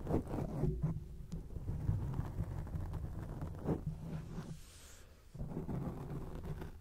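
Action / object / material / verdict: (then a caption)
scrape / foam microphone windscreen / foam / none. Long acrylic nails scratch a round grey foam cover on a microphone, making a deep, muffled rumbling rustle with almost no bright content. The scratching is continuous, fades into a short near-silent gap around the fifth second, then resumes.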